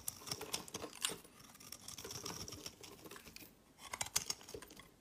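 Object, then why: Bar of soap. A utility knife blade shaves and scrapes curls off the edge of a solid, rectangular, hand-sized green soap bar held in one hand. Quiet, crisp, bright scraping and cutting ticks come in quick bursts, with a soft pause near the middle before a final cluster of sharper scrapes.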